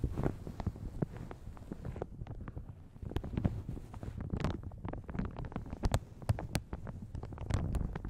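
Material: Plastic.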